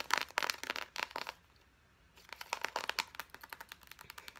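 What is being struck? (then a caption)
Soft plastic lotion tube. Long painted nails tap fast along the hollow body of a white-and-red soft plastic lotion tube held in both hands. Around twenty quick, dry, bright clicks come in uneven bursts with a brief silent pause in the middle, each tap having a hollow, plasticky tone around 1 kHz and almost no ring.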